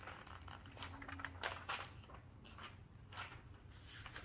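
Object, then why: Glossy paper magazine. Hands with long nails flip through the thin, flexible pages of an open glossy paper magazine lying on a table and smooth them down. The result is a quiet run of soft, crinkly paper swishes and rustles with bright, airy edges over a faint low background hum, with a sharper flick at the very end.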